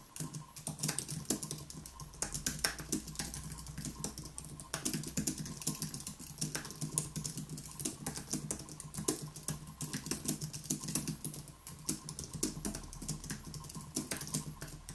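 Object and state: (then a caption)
Low-profile keyboard typing. Both hands rapidly type with their fingertips on a white Apple Magic Keyboard, an aluminium keyboard with plastic keys, resting on a wooden desk. A steady stream of short, crisp clicks and soft taps runs throughout, each one bright and dying away almost instantly, over a faint low hum.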